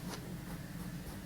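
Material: Nothing is struck.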